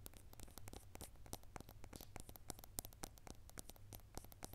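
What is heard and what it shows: A clear drinking glass full of dry lentils is held in both hands while long acrylic nails tap and scratch its sides. Rapid, sharp, dry clicks follow each other closely with brief scratchy textures between them, over a steady low hum. The whole clip stays quiet.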